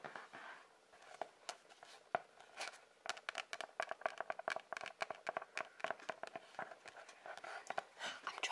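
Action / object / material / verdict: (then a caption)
tap / cardboard-covered sketchbook / cardboard / none. A sketchbook with a cardboard cover is tapped by fingers in a quick, uneven series of short, dry taps. The quiet, papery knocks center in the mid-range with a light bright edge and die away almost instantly, with soft rustling between them.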